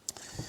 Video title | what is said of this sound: Lumix 70-300mm f/4-5.6 Unboxing & First Impressions | When you shake it a little bit, you can hear the image stabilization there